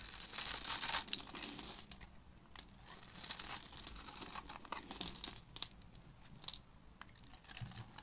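A black utility-knife blade carves a grid into a solid, hand-sized orange bar of dry soap held in the hand, then scrapes off crunchy soap cubes. Bright, dry crunching and scraping crackle in quick, uneven bursts, loudest in the first second and then softer, with no low-end body.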